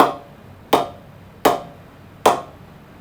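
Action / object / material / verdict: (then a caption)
strike / willow cricket bat struck with a cricket ball / willow / good ping. A new cricket ball is knocked against a Kookaburra Beast Pro 2022 willow cricket bat in a ping test, producing four clear, evenly spaced hits after the tail of an earlier one. Each hit is a sharp, woody knock with a bright click and a mid-pitched tone that rings out quickly. The bat gives an excellent ping.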